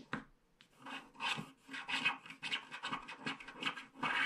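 A wooden stylus scratches the black coating off the edge strip of a flat paper scratch-art card, leaving loose flakes. Dry, bright rasping strokes come in uneven bursts with short pauses between them.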